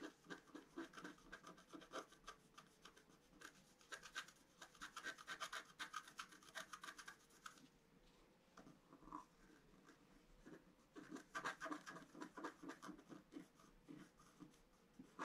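A pointed wooden stylus scratches across a flat A4-size scratch-art card, a black coating over a colored foil layer, lying on a table. Quick, uneven scratching strokes come in dense bursts with a dry, papery rasp, fading to quieter light scraping between busier stretches.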